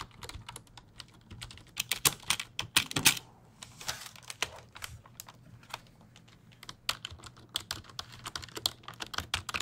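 A full-size black plastic computer keyboard, held upright beside the mic, has its keys pressed and tapped with fingertips. Bursts of bright, dry clicks and clacks come in irregular runs with short pauses between them, each tap dying away almost instantly over a faint low hum.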